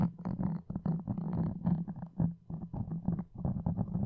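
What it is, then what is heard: Foam microphone windscreen. Wooden toothpicks and dark-painted nails scratch close to a soft, porous black foam windscreen with red dots on a red desk microphone. The result is a dense run of muffled, rumbling scratch bursts, heavy in the low end around 170 Hz with almost nothing bright, each stroke dying away almost instantly.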